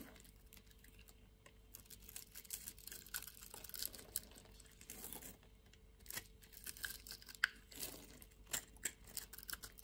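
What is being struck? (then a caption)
Bar of soap. A utility knife blade slices and scrapes small cubes off a solid, grid-scored white soap bar held in the hand. The result is quiet, bright, crisp scraping and crackling with many short dry clicks and faint crumbling. A low, steady hum sits underneath.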